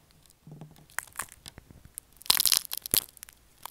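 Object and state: Bar soap scratched.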